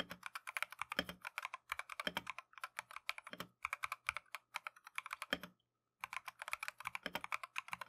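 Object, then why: Mechanical keyboard with plastic keycaps. A compact Keychron V1 mechanical keyboard with Tangerine switches and green-and-white plastic Matcha keycaps is typed on continuously with gloved fingertips. It produces rapid bursts of short, bright, clicky keystrokes centered around 3 kHz, with occasional deeper thuds. Brief pauses break the typing, including a near-silent gap just before the 6-second mark.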